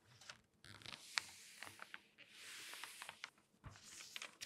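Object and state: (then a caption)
Glossy paper magazine. Long dark-painted nails scratch and rub across the printed pages of an open, thin, light glossy paper magazine lying flat, between page turns. Soft, bright crinkling and papery swishes are broken by sharp clicks and taps from the nails. The sound stays quiet and close throughout.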